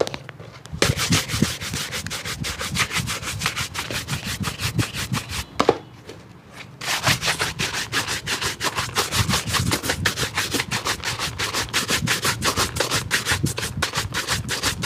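A hollow, empty black leather shoe is brushed rapidly back and forth with a wooden-backed bristle brush during a shoe shine, making a steady stream of bright, scratchy, rasping strokes. The brushing pauses briefly near the six-second mark, then resumes at the same quick pace until the end.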